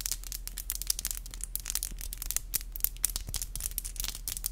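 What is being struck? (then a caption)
Acrylic fingernails. Long black acrylic nails are tapped and scratched together with both hands, nail on nail. A dense, rapid stream of sharp, bright clicks and scratchy rasps runs throughout, with no ring after each tap, over a steady low hum.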